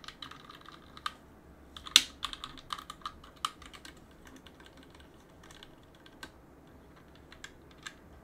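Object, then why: Mechanical keyboard, plastic keycaps on metal plate. A gloved hand scratches a cotton swab along the gaps between the plastic keycaps of a backlit mechanical keyboard on a metal plate, and presses the keys. Quiet, bright, scattered clicks rise above a faint scratchy rustle, with one sharper clack near the two-second mark. Each click stops almost at once, with very little low end.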